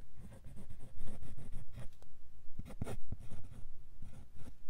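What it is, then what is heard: Fountain pen nib scratching on paper. A steel-nibbed fountain pen with a black body writes cursive "Thank You For 20.." on a thin sheet of white lined paper lying flat on a hard surface. The nib scratches and drags across the paper in quick, uneven writing strokes that come in short bursts with brief pauses between them. A soft papery rasp rides over a dull, low rub.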